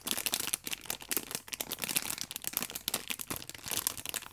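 A pack of orange paper baking powder sachets in clear plastic wrap, held flat, is pressed and rubbed with fingertips and long nails. The film gives a dense run of bright, crisp crinkles in quick, uneven bursts, with almost no low end and no ring after each rustle.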